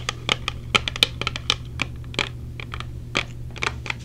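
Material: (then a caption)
Plastic. Long painted nails tap rapidly on a small, hollow, clear plastic case with silicone earplugs inside, held in the hand. The result is a quick, uneven series of sharp, bright plastic clicks that die away almost at once, over a faint steady low hum.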